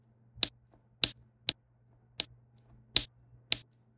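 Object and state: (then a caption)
Resin drills tapped onto a diamond painting canvas. A plastic diamond-painting pen with a pink wax tip taps small faceted resin drills onto a flat adhesive canvas, one quick tap for each drill. Six sharp, bright clicks ring out at uneven intervals, each dying away almost instantly, over a faint low hum.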